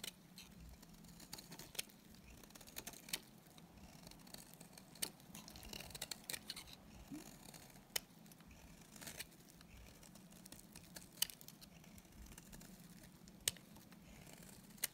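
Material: Soap.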